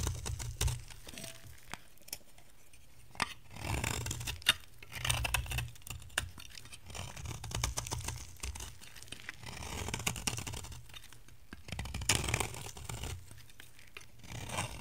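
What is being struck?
Bar soap shaved by a metal blade.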